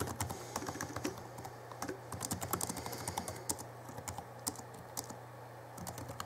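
Fingertips of both hands type on the backlit plastic keys of a small 2011 Alienware M11x2 laptop keyboard. Quick, light, dry clicks and taps come in an irregular stream, with some brighter, sharper key strikes, over a steady low hum.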